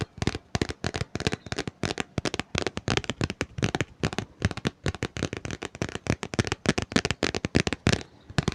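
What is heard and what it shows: Fingers tap rapidly and continuously on a book, with light scratching between taps. The result is a dense run of short, dry taps with almost no ring.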